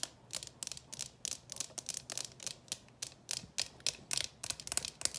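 A clear plastic coffin-shaped box full of candies is held in the hands and tapped with long nails along its lid and sides, and it may be tilted so the candies shift inside. About 21 quick, dry, bright clicks come in an irregular rhythm, roughly three to four per second. Each click stops almost instantly with no ring and almost no low end.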